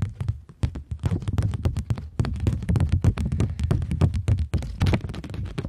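Long nails rapidly tap and scratch a polymer plastic £20 banknote bent into a curve. The result is a dense, irregular flurry of short, dry clicks, each with a low thump and a bright crackle, plus faint scraping between the taps.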